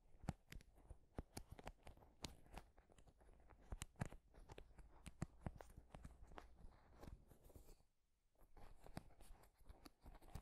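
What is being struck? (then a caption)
Wooden paddle hairbrush with wooden pins. Fingers scratch and strum across the wooden pins of a wooden paddle hairbrush held close to the microphone. A dense, crackly scratching is punctuated by many sharp, dry clicks, with a brief near-silent pause around eight seconds before the strumming resumes.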